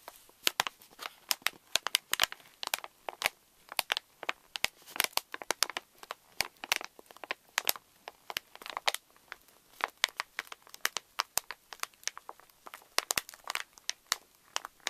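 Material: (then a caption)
Plastic foil. Long nails tap and scratch the front of a pink Reese's pouch made of plastic foil laminate and filled with candies, resting on a wooden table, while fingertips press and crinkle it. Many quick, sharp clicks and crinkles sound bright and dry, with almost no low end and no lingering ring.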